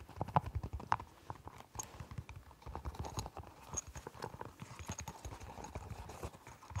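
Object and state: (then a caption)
Silicone pop-it fidget toy. Fingertips repeatedly press and pop the hollow bubbles of a round, hand-sized, pastel rainbow silicone push-pop fidget toy, producing a quick, uneven run of short, dull, clip-clop-like pops with a few sharper, louder snaps near the start. By the end, the toy is lifted near the head.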